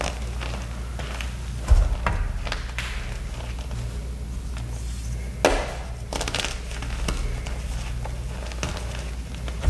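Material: Chalk.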